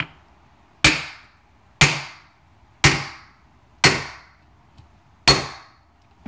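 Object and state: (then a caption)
Fully seated truck wheel seal. A hammer strikes a seal driver five times to drive a metal truck wheel seal into the hub. Each blow is a sharp, bright, solid knock that dies away quickly, with roughly a second between strikes. The solid sound shows the seal is fully seated and bottomed out in the hub.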